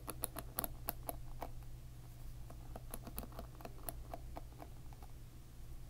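A plastic-pin hairbrush is held upside down above a table while a fingertip flicks along its row of plastic pins. The result is a string of quick, light, dry ticks and clicks with bright edges that die away instantly, heard over a steady low hum.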